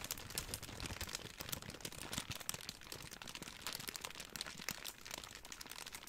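A large wad of clear plastic bubble wrap is squeezed and crinkled with fingertips for about six seconds. It makes a dense, continuous crinkling full of sharp, bright crackles that die away almost instantly, with energy centered around 2 kHz and little low end.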